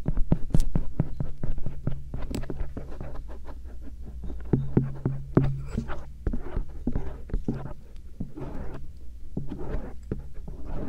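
A thin stainless steel earpick scratches around the ear canal and ridges of soft silicone ears on a binaural microphone, producing a quick, irregular stream of short scratching and tapping strokes. The strokes sit over a steady low hum and stay quiet and close throughout.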